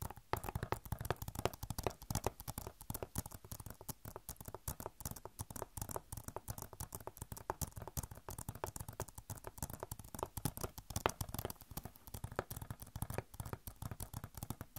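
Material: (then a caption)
Plastic. Long nails scratch and tap rapidly on a hollow plastic Overwatch game case. The result is a dense, continuous patter of short, dry clicks and scratches with a bright edge and no ringing, all at a soft, even level throughout.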